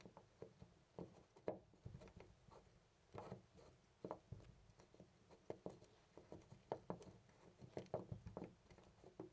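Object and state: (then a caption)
Loose brass door knob. A loose brass-finish metal door knob on a white panel door is held by the fingertips and jiggled and rattled. The result is a quiet, irregular series of short clicks and knocks with a low-mid body and almost no ring.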